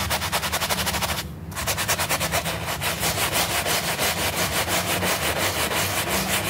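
A small rectangular piece of flat, solid, wet and soapy pile carpet, held by a finger, is vigorously scrubbed with a stiff plastic-bristle hand brush. Rapid, rhythmic back-and-forth strokes make bright, hissy, wet swishing with a low rumble underneath. The scrubbing pauses briefly early on, then continues steadily to the end.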